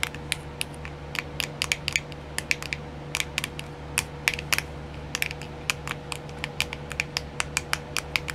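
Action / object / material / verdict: tap / plastic nail art wheel / plastic / none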